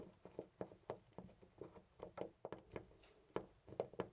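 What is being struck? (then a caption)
Brass door knob on an interior door. A hand grips a loose brass-colored metal knob on a white interior door and jiggles it in place. It gives off a quick, uneven series of soft rattling clicks and knocks with a dull, mid-pitched tone that dies away almost instantly. The rattling stays quiet throughout.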